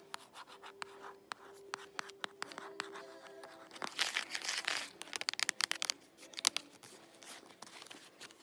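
Fingertips and nails scratch and rub the glossy laminated cardboard cover of a hand-sized "Digging for Dinosaurs" children's board book held in the hands. Dry, bright scratching is broken by many sharp clicks and ticks, with a denser, rougher rubbing burst midway and faint steady tones humming underneath.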